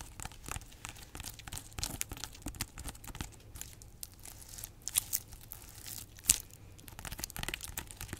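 Long nails scratch and tap the textured rind of a large, solid whole pineapple held close. A dense, bright, crackly scratching runs throughout, with a few sharper taps standing out near the end.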